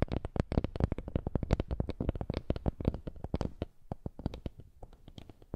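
A small, flat woven wooden lattice coaster, held in both hands, is rubbed and scratched with the fingertips. The result is a rapid, dense run of short, dry clicks and scrapes with almost no ring. They are mostly low and thumpy, with some brighter ticks, and they thin out slightly toward the end.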